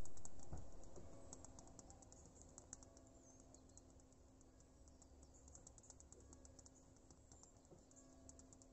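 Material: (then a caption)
Stone. Long pink fingernails tap and scratch across a sheet of small, smooth, glossy white pebble mosaic tiles set on a mesh backing, close to the mic. Many quick, light clicks and scrapes patter on over a low steady hum, with a slightly louder tap near the start and a few sharper ones later.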